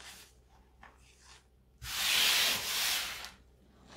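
Two hands with long metallic-painted nails scoop, squeeze and rub handfuls of a loose pile of blue-tinted gym chalk, both reformed and fresh, between the fingers and palms, crumbling its soft powdery chunks. Faint, dry rustles give way to a loud, bright, hissing crunch that swells for over a second before fading back to quiet rubbing that rises again at the end.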